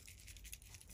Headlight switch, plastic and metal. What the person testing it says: When you shake it, you can hear little bits in there.